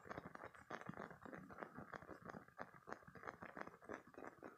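A green spiky silicone squeeze toy is held in both hands, squeezed and scratched with fingertips and short painted nails. The result is a quiet, steady stream of rapid crackly scratches and soft crunchy clicks, mostly in the midrange with little low end.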